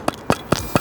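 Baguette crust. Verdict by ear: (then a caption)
Hard. A very burnt, hard-looking baguette with square ends, from a bakery rated one star, is knocked four times like a brick. Each knock is a short, dry, woody tap with almost no ring. The baguette is judged to be an industrial product reheated on site.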